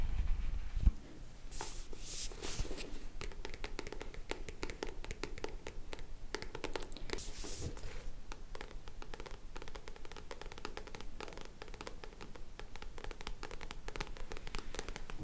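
Long nails scratch the matte back cover of a solid black paperback book with a card cover, held upright. A steady run of quick, dry, crackly strokes with bright edges continues throughout, with a brief low thump at the start and a few broader, hissy swipes.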